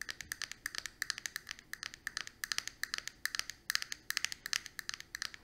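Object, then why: Plastic eyeshadow compact. Long pointed acrylic nails tap rapidly on a small flat square plastic eyeshadow compact with a clear lid and four pans, held in the palm. About 47 dry, bright clicks come in quick irregular bursts, each cutting off instantly with no ring. They are centered around 1.7 kHz with strong high content and almost no low end.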